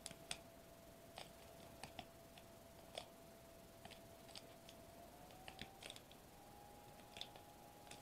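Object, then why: Foil-laminated plastic bubble wrap. Fingertips tap rapidly on a sheet of foil-laminated plastic bubble wrap lying flat on a table, producing quiet, sharp, bright clicks with very short ring. A faint steady tone runs underneath throughout and rises slightly in pitch partway through.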